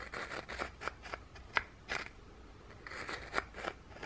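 Fingers with painted nails hold a flat, thin, scalloped ginger biscuit and scrape its textured underside with the edge of a second biscuit. The result is a series of short, dry, crisp scratching strokes, bright and crackly with little low end, separated by quiet pauses.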